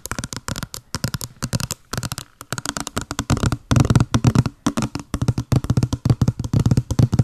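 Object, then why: Small printed cardboard box. Long blue nails rapidly tap and scratch a small, hollow, white patterned printed cardboard box, producing over forty quick, dry, hollow taps that die away almost instantly. Scratchy stretches fill the gaps between the taps. The sound is low and papery with little brightness, growing denser and louder in the second half.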